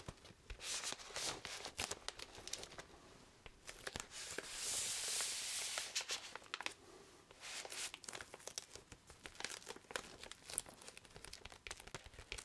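A large, flat cardboard vinyl LP sleeve in plastic shrink wrap is held in the hands and handled with the fingertips, making the plastic wrap crinkle. Quick, bright, irregular crackles and ticks run throughout, with a longer, smoother rustling stretch near the middle.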